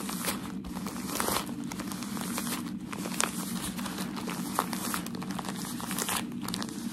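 Folded, crinkled white tissue-like shoe packaging paper is held in the hands and scratched and rubbed with fingertips and nails. It makes a steady, dense crinkling and rustling, with a few brief, sharp crackles standing out along the way.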